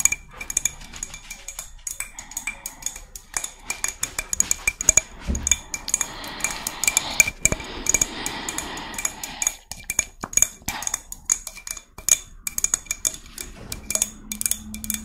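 Long red nails tap and scratch the spines of a hollow, hand-sized white spiny murex shell. Quick, bright clicks with almost no ring come in rapid, uneven bursts, with a denser scratchy rasp in the middle.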